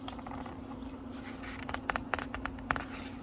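Fingertips turn and flip the thin paper pages of a small, thick, solid book with a leather-like cover lying on a wooden table. Soft paper rustling runs over a steady low hum, then several sharp, quick page flaps snap out in the second half.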